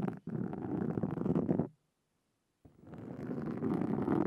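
Two metal-tipped carving tools with wooden handles, held in both hands with long blue nails resting on the handles, scratch the small, soft, porous black foam windscreen on a Zoom handheld recorder. The result is a dense, close, low rumbling scratch that runs for about a second and a half after a brief dropout, then stops for about a second. It then builds back in and continues to the end.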